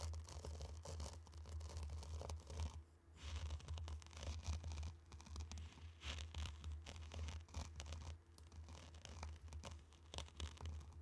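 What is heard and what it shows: Two round wooden sticks drag through a tray of loose, dry, fine pink-orange colored sand, scraping and swishing the grains. The sound is a continuous gritty scratching and rustling that rises and falls in short strokes, over a steady low hum.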